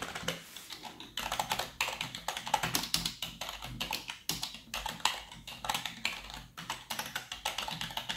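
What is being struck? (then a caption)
Plastic computer keyboard. Fingertips of gloved hands type rapidly on a black plastic full-size computer keyboard resting on a desk. A steady stream of quick, bright key taps and clicks rises and falls in bursts, each click short and dry. The same keyboard is heard throughout.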